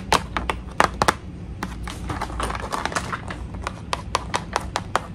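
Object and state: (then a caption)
Cardboard package backing scratched with nails. Long acrylic nails scratch, rub and tap across the flat, thin, solid white printed cardboard backing card of a toy tea set package. Sharp, dry nail clicks stand out over a continuous bright, papery scraping, and each click dies away almost instantly.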